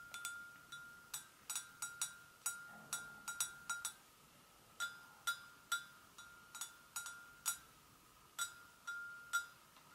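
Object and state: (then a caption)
Porcelain gravy boat. Long acrylic nails tap both sides of an empty, hollow, medium-sized white porcelain gravy boat. About 24 light, irregularly spaced taps sound, each a bright click with a short, clear ringing tone around 1.3 kHz that fades quickly. The overall level is quiet.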